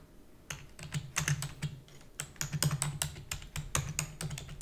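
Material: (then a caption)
Plastic. Fingertips with long natural nails rapidly press the keys of a black full-size plastic computer keyboard with hollow key housing while typing. After a brief quiet start, a quick, irregular stream of bright, sharp clicks and clacks sounds over a low, hollow thump, each strike decaying almost instantly.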